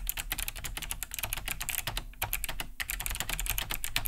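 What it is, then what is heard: Plastic mechanical keyboard, clicky switches. Fast two-handed typing with fingertips on a large beige Cherry G80-3000 mechanical keyboard with Kailh BOX White switches, a hollow plastic case and thick plastic keycaps, resting on a wooden desk. Dense, bright, clicky key-switch taps come in quick bursts, with a hollow low thock under each press and a brief pause near the middle.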